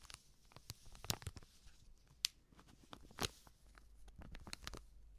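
A small, sealed, filled baking soda sachet made of plastic foil is crinkled and scratched with long nails. Soft, irregular crinkling is broken by sharp, bright scratchy ticks and a few louder crackling snaps. It all stays quiet and close, with no ringing after each sound.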